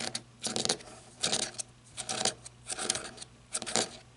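Long red nails tap and scratch the ribbed grip of a black matte flashlight made of plastic or coated metal. Short bursts of crisp clicks and bright, gritty scratching come in irregular clusters, with very little low end and almost no ring after each tap.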